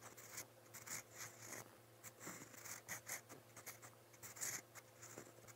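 A metal fountain pen nib scratches across a lined white paper notebook page resting on a solid pad while writing. Quiet, bright, broadband scratchy strokes come in short bursts, with a faint steady low hum underneath.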